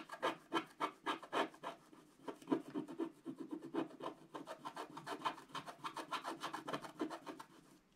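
A wooden stylus rapidly scrapes back and forth across a flat scratch art card of coated black card, filling in an area. It makes a dry, rasping rub in quick, uneven strokes of about three to four per second, with bright scratchy texture. The first few strokes are louder and more separate, then it settles into a steadier, softer scraping that fades at the end.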